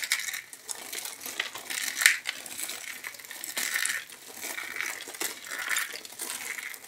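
A stack of thin, dry, light-blue soap plates is held in both hands with long manicured nails, and the fingers squeeze and crush it until it breaks into small brittle flakes and shards. The sound is a steady run of crisp, dry crunching and crackling snaps with no low end, centred around 1.8 kHz and reaching high, with brief sharp peaks as pieces give way.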